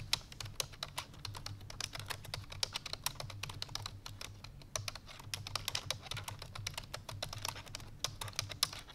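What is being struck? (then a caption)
Plastic computer keyboard. Fingertips with long painted nails press the keys of a full-size black plastic computer keyboard resting on a white fur rug, typing fast. Dense, bright, short clicky taps run continuously for the whole clip over a faint, steady low hum.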